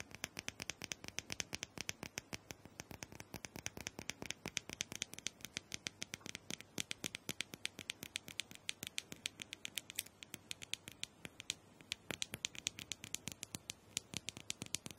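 Long nail tips tap and scratch quickly across the surface of a small hollow plastic dome massager held in one hand. The result is a steady stream of sharp, bright, clicky taps with almost no ring, mixed with light scratchy patter over a quiet background throughout.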